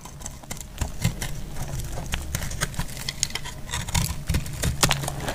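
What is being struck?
Bar of soap cut with a blade.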